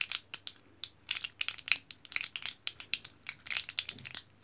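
Fingertips and nails scratch and press the orange printed aluminium foil side of a foil-backed plastic blister pack of capsules, a thin sheet with hollow pockets. Quick, bright crinkling ticks and scrapes come in a dense, irregular run of short bursts. The bursts are almost entirely high-pitched and have no low body.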